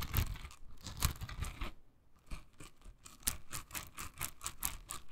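A hand-sized pink silicone scrubber covered in dense soft bristles is held in the hand while long nails scratch and flick across the bristles. The result is a run of quick, dry, crackly flicks and scratches with bright edges, a brief quieter pause partway through, and a denser burst of flicks near the end.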